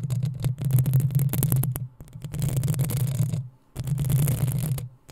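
Long nails scratch the hollow metal mesh grille of a black desktop microphone, giving a dense run of rough scraping and ticking. A heavy low hum-like rumble sits underneath, with brief high crackles. The scratching pauses twice, falling nearly silent before starting again.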